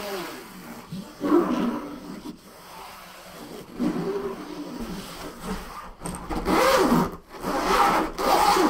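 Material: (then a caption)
Nylon fabric. Fingertips and nails scratch and brush the padded top of a large, closed, soft-sided suitcase made of black nylon fabric with a grey strap, lying flat on a table. The result is a series of rasping, swishing strokes that swell and fade in uneven bursts, with a papery midrange texture that grows louder and denser toward the end.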